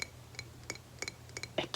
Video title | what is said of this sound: ASMR tapping on unusual things :D | like almost a glass sound it reminds me of glass